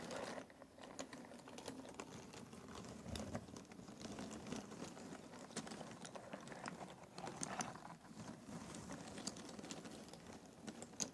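Fingertips rake and stir through loose cardboard jigsaw puzzle pieces in a box. The result is a quiet, steady rustling patter of many small, dry clicks and taps, with brighter ticks breaking through now and then.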